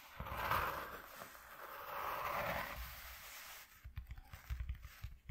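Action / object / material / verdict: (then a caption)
scrape / corrugated cardboard sheet / cardboard / none. Fingertips scratch across a flat white corrugated cardboard sheet resting on black cloth, making two long, rising and fading papery rasps. These give way to a run of quick, soft, dull taps on the sheet.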